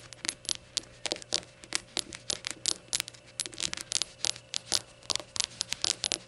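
Long nails tap and scratch the glazed surface of a small, hollow, empty rainbow ceramic shot glass standing upright. About 29 quick, sharp, bright clicks and short scrapes come in an uneven rhythm, each dying away almost instantly, over a faint steady low hum.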